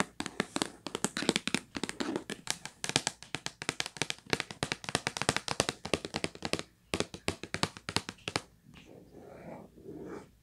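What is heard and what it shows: A hollow purple Kleenex cardboard tissue box is tapped on its top and edges with long nails and fingertips. Rapid, dry, bright clicks and soft thuds arrive in quick bursts for about eight seconds. Softer scratching sounds take over at the end.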